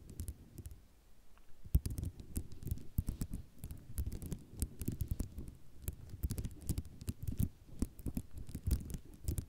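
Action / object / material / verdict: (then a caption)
tap / ceramic mosaic tile sheet / ceramic / none. Long nails tap quickly and scratch across a flat sheet of small white square ceramic mosaic tiles. The result is a dense run of short, dry clicks and scrapes, mostly low and muffled with bright click edges.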